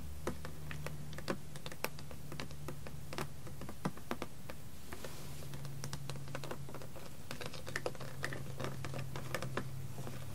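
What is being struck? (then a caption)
Plastic water bottle. Long red-painted nails tap and scratch the ribbed side of a small blue PET plastic water bottle with a blue cap and a label, lying on a carpet and mostly empty or only partly filled. Quick, sharp clicks and scrapes come in an uneven, rapid stream over a steady low hum.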